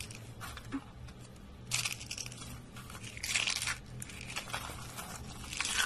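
Dry white soap curls and flakes are crumbled between the fingertips and rubbed between the hands, making a dry, bright crackling crunch. The crunching comes in bursts that swell louder near the two-second mark, again around three and a half seconds, and at the end, over a faint low hum.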